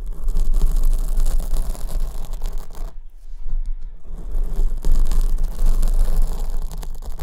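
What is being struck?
Foam microphone windscreen.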